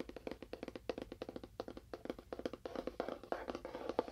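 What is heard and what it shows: A small, hollow, labelled cardboard box with a lid and a faux wood finish is tapped quickly with fingernails on its end and side. The rapid run of short, dry, hollow clicks has a woody knock centred near 480 Hz, and each tap dies away almost instantly.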